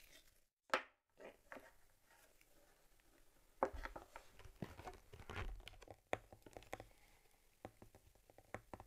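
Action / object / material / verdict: tap / stitched leather camera case / leather / none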